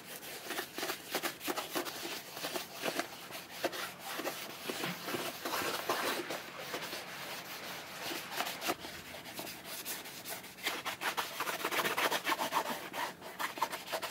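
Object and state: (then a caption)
Cordovan leather boot being rubbed with a cloth. A cloth with cleaning lotion is rubbed over the glossy upper of a burgundy shell cordovan chukka boot made by Alden, held in the hand. It makes a continuous dry, bright rubbing and swishing sound with irregular strokes that swell and fade, and almost no low end.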